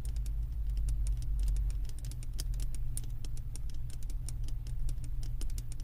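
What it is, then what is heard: Glass candle jar. Long acrylic nails tap the thick glass base of a wax-filled glass candle jar from below. Rapid, light clicking taps sound over a steady low hum, each tick brief with only a short ring.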